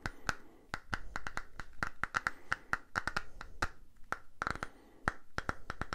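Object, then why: Small silicone cleansing pad. Fingernails tap and scratch the surface of a small purple silicone facial cleansing brush pad cupped in both hands. The result is a quick, irregular stream of sharp, dry clicks, each with a brief bright ping. Soft scratching fills the gaps between taps over a low background rumble.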